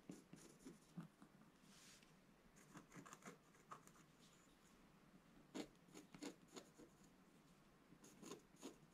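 A wooden scratch stylus scratches rasping strokes into the black coating of a solid scratch-art page in a book lying flat on a table. Quiet, dry scrapes and short rasping strokes come in uneven bursts, with brief bright scratchy edges over a low, soft papery rub.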